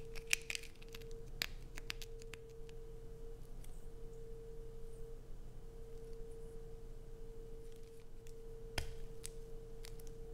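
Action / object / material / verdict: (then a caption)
scrape / bar of soap scratched with fingernails / soap / none. Long acrylic nails dig and scratch into a solid, hand-sized, light-blue bar of soap held in the hand, shaving flakes off onto a dark plastic sheet. Short, sharp, bright scratches and clicks come in scattered bursts, busiest at the start and again near the end, over a quiet, steady low hum.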